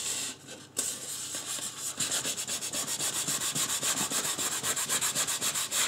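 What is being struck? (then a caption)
Polystyrene foam mannequin head. Fingertips and a fingernail rub and scratch the scalp area of a life-size white polystyrene foam mannequin head, making a dry, bright, hissy scraping sound. After a softer, uneven start with a brief near-silent pause, the scratching settles into a fast, fairly steady run of rhythmic strokes of even loudness.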